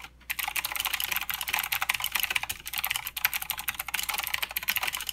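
A full-size mechanical keyboard with plastic keycaps, clicky blue switches and a backlight sits on a desk mat and is typed on continuously with the fingertips of both hands. After a brief quiet start, rapid, sharp clicks and clacks run on without pause, bright and crisp with almost no low end, each keystroke dying away instantly.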